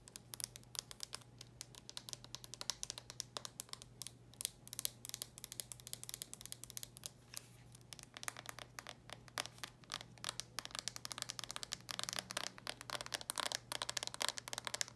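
Long nails tap and scratch the shell and hinge of a small red plastic handheld game console with its clamshell closed. The result is a quiet, dense stream of rapid, bright clicks and scratchy rasps over a faint, steady low hum.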